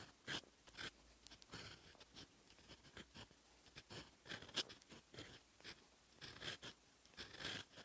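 A steel fountain pen nib writes in black ink on a lined paper notebook page, scratching across the sheet in a series of short, quiet strokes. The scratches are bright and papery, with a thin whistling edge around 3 kHz and almost no low end. Each stroke stops dead, with faint pauses between them.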